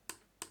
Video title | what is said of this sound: Shure SRH840 Unboxing and Impressions | all these pieces right here where they have the cable running on the outside they actually sound hollow